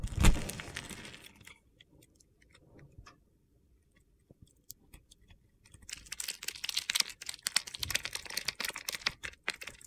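A blade from a metal box cutter scrapes and carves thin crunchy flakes off the top of a solid rectangular soap bar with a red glitter crust, held in one hand with long red-painted nails. A loud scrape opens the clip and fades into a quiet stretch of sparse faint ticks. From about six seconds on, dense, bright, gritty crunching and scraping continues to the end.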